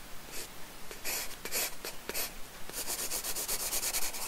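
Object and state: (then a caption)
Pencil on sketchbook paper. A wooden pencil scratches and shades a small cake slice drawing on a paper sketchbook page resting on a wooden desk. A few separate, bright, hissy strokes come first, then a quicker run of short back-and-forth shading strokes, all soft and close.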